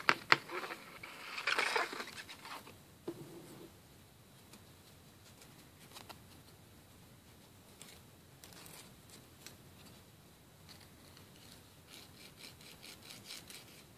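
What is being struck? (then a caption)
Emery board filing fingernails. A thin, flat, solid emery board, an abrasive-coated board about 18 cm long, is held in one hand and drawn back and forth across short fingernails over a wooden table. A few louder, bright scratchy rasps and taps come in the first three seconds. Then it settles into faint, quiet filing and rubbing strokes with a dry, high hiss.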